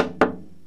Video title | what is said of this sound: Finding Open Seams in a Cello | there's a sound very typical of a seam opening